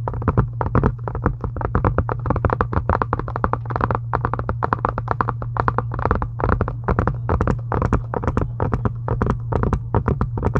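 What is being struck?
Faux leather journal cover.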